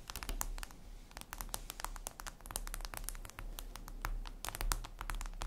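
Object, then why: Glass tablet screen. Long red nails rapidly tap and scratch a flat, glossy black reflective glass surface, likely a tablet screen. Dense, sharp, bright clicks and brief scratches come in quick irregular bursts over a steady low hum, each tick dying away almost instantly.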